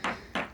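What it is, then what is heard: Sailboat hull sounded with a hammer for core delamination. Two hammer taps on the cored composite hull of a sailboat hanging in a travel lift's slings, sounding it to check for a soft or delaminated core. Each rap gives a short, bright knock with a quick ring that fades within a fraction of a second.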